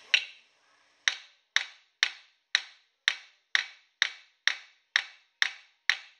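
A thin, palm-sized copper disc is held by hand on a round metal stake clamped in a blue vise and struck repeatedly with a metal planishing hammer, shaping it into a small dish. Twelve sharp, bright metallic taps sound at a steady pace, each ringing briefly, with the stake under the disc adding to the tone.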